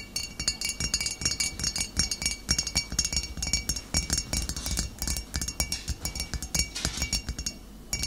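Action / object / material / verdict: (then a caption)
tap / glass bottle / glass / none. Fingernails tap continuously on a glass bottle, making rapid, bright clinking sounds with short, high ringing tones over a soft low thump.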